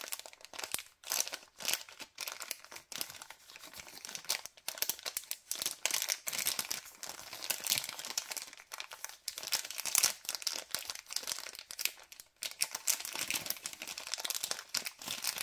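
Fingertips and a thumb squeeze and crinkle a white LDPE plastic packet of cable ties. The result is dense, bright, crackling rustles with almost no low end, continuing in uneven bursts with brief pauses throughout.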